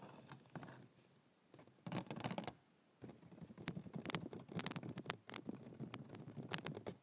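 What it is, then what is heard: Cardboard box. A hollow white printed cardboard yoga block box is held up and tapped quickly with the fingertips, like typing. Rapid bursts of soft, dry, hollow taps with a low body and bright clicky edges come in uneven runs separated by short quiet gaps. Each tap dies almost instantly.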